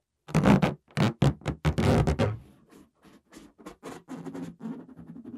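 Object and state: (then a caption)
Latex balloon being scratched and rubbed. Fingertips and nails scratch and rub the surface of a green, hollow, air-filled latex balloon held in both hands. Loud bursts of low, squeaky rubbing come first, then a run of quieter, shorter scratches with a faint hum.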